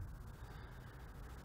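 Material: Nothing is struck.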